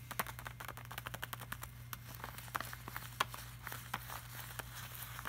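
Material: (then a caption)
Laminated plastic. Fingertips and short nails tap, rub and scratch across a flat glossy laminated art print. About two dozen quick, dry, bright clicks and taps rise over a soft scratching hiss, with a steady low hum underneath. The taps are sharp and die away almost instantly.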